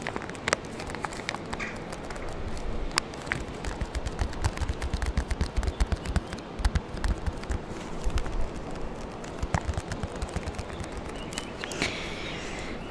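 A small orange Capri-Sun foil-laminate drink pouch, fill level unknown, is held in front of a microphone and tapped and scratched with fingernails and fingertips. The result is a steady stream of quick, crackly taps and scratchy rustles with sharp bright clicks over a heavy low rumble. The taps die away almost instantly.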